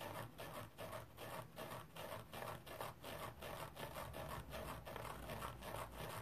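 Fingernails scratch the surface of a round, dry stainless steel wire mesh scrubber held in a yellow plastic frame, lying on a towel. A quick, fairly steady series of dry, raspy scratching strokes is heard, each a short gritty burst with a little bright hiss.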